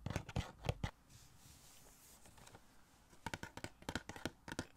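Fingertips and nails tap a small, hollow printed cardboard The Flash Funko Pop box with a clear plastic window and the vinyl figure inside, held in one hand near the microphone. About fourteen short, dry, low-toned knocks die away almost instantly, grouped in a quick burst at the start and again at the end. A soft, faint scratching fills the quieter stretch between them.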